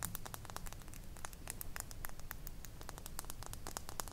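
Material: Glass.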